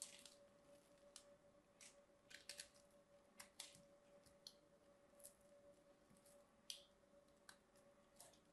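A small knife blade carves a grid into the surface of a palm-sized solid cream soap bar held in one hand, then scrapes out small cubes. The result is a quiet series of crisp, bright scraping and slicing clicks, each short and dry, over a faint steady hum.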